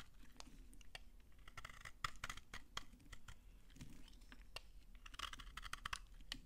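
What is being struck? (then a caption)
Bar of soap scraped with a knife blade. A utility knife scrapes dry shavings off a solid, dry pink soap bar held in the hand. It makes a rapid series of short, crisp, crunchy scraping strokes with bright crackle and almost no ring, over a quiet low rumble.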